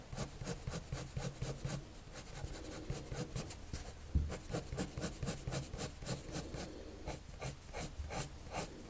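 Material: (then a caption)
Paper. A hand draws on a flat sheet of white drawing paper with a red patterned colored pencil, rubbing and scratching across the surface. The clip is a quiet, steady run of short, bright scratchy strokes over a low, soft rumble.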